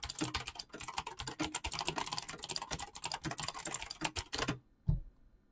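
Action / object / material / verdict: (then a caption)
tap / mechanical keyboard with PBT plastic keycaps / PBT plastic / none. Fingertips of both hands type fast, continuous key presses on a backlit mechanical keyboard with clicky green switches and pastel PBT plastic keycaps, producing a dense stream of bright, sharp clicks with a low clack under each stroke. The rapid typing runs for about four and a half seconds and then stops. A single heavier, deeper thump follows, then near silence.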